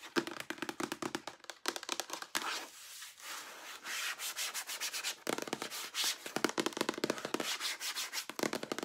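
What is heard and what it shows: Long nails tap and rub along the sides and pump of a large, hollow, white plastic lotion pump bottle as it is held and tilted. Bursts of rapid, crisp, dry clicking alternate with a stretch of continuous scratchy rubbing in the middle. The sound is bright and thin, with almost no low end.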